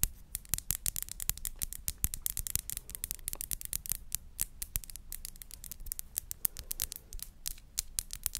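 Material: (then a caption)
Glass. A small glass perfume bottle with a pink rose-shaped plastic cap and purple-tinted liquid inside is tapped and scratched by long nails on its glass body. Rapid, crisp clicks and ticks with bright, high edges overlap with soft scratching across a faint low background, each tap dying away almost instantly.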